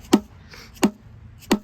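A soft mallet taps three times on the split aluminum crankcase of a 1984 Honda Goldwing GL1200 engine during teardown. Each tap is a short, hollow knock centered around 215 Hz that dies away almost at once. The hollow sound shows the case halves are starting to separate.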